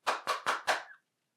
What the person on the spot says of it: What does that sound like? It's hard, yeah. So it's hard.